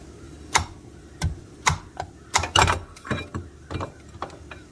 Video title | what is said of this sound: Honda 420/500/520 Primary Gear Reduction Install By Reduction Boss | you'll hear this thing as you tap it into place you'll hear it when it bottoms out